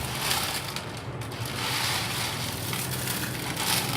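Cooled, crispy fried besan potato bhujia, a gram flour and potato snack, is broken into small pieces. A continuous dry, crackling crunch is heard, with the brittle strands snapping cleanly to show the snack is properly crisp.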